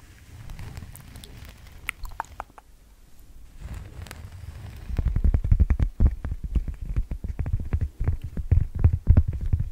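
Long teal-painted nails scratch and tap the surface of a single large, thin, solid round cork coaster held up in front of a microphone. Quiet scratching comes first, then a fast, uneven run of dull, muffled taps that are heavy in the low end and die away almost instantly.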